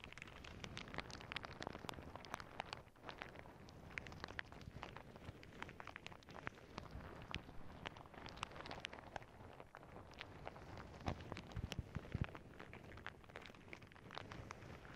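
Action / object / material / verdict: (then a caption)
scrape / plastic bag full of small beads / plastic / none. Fingertips and long nails press and scratch a clear plastic zip bag full of small clear beads held under both hands. A dense, continuous crinkle and rustle of plastic is shot through with sharp, bright clicks as the beads shift. Heavy low-end rumble sits underneath throughout.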